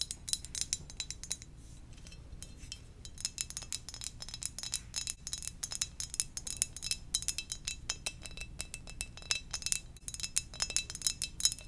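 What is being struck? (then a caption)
Ceramic mug. Fingertips gently tap a ceramic donut-shaped mug in a quick, steady stream of light taps. Each tap gives a short, bright click with a faint high ring, over a soft low hum.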